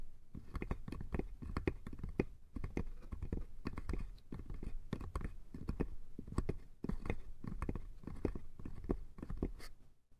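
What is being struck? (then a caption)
Small wooden box. A small, hollow light-wood box with a painted lid pattern and a metal latch is held in both hands and tapped and scratched with fingertips and nails. The result is a rapid, continuous run of dull, low, hollow knocks mixed with dry scratching, each tap dying away almost instantly, before the sound fades out at the end.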